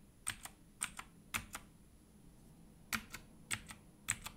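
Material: Plastic.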